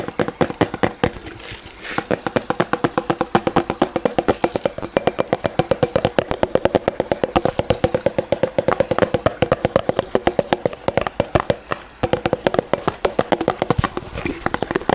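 A small, hollow, empty white disposable plastic cup is held close to the microphone and tapped and scratched with fingertips and nails. Rapid, steady clicking taps with a hollow, mid-pitched plastic tone run throughout, each one short and dry with almost no ring, over faint scratchy rustling.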